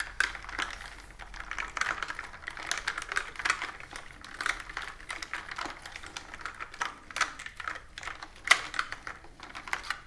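Fingertips and long nails type steadily on a plastic computer keyboard with round plastic keys resting on a table. The result is a fast, uneven stream of dry, bright clicks and taps centered in the upper mids around 2 kHz, each dying away almost instantly, with a few sharper nail strikes standing out.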